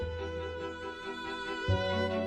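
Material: Nothing is struck.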